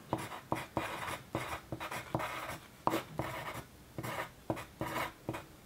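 A pencil tip scratches across a loose white paper sheet resting on a desk while writing, with the hand kept on the sheet. A series of short, dry scratching strokes starts and stops in quick bursts, separated by brief pauses.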